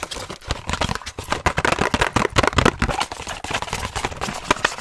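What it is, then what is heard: Cardboard box of lens wipes. A small, hollow, printed cardboard box of Optico 60 lens cleaning wipes, held close to the mic, is tapped and scratched very fast with long nails and fingertips. The result is a dense, continuous run of dry, papery taps and scrapes with almost no ring, rising and falling in loudness with bright, crackly detail.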